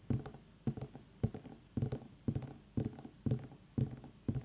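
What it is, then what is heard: Pumpkin tapped with nails. Long nails tap with both hands around the ribbed skin of a small, solid, whole orange pumpkin with its stem, resting on a wooden table. The taps come in nine quick bursts about twice a second, each a dull, hollow low knock around 125 Hz followed by a few softer, fading taps. Every knock dies almost at once, with no ring and little high-end click.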